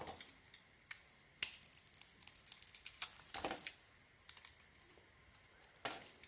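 A solid white soap bar with a pink sequin coating, held in the hand, is carved with a metal blade that slices through the coating and into the soft soap. Quiet, bright, crisp crackling and scraping clicks come in irregular bursts, with a few sharper slicing strokes and brief pauses between them.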